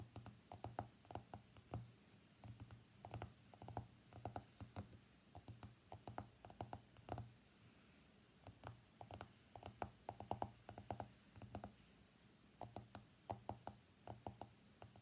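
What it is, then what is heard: Smartphone glass screen. Fingernails tap the glass screen of an iPhone X lying face up on a mat, making quick, dry clicking taps in uneven bursts. The taps are short and sharp with little ring, with a faint steady low hum underneath. They pause briefly around the middle of the clip, then resume.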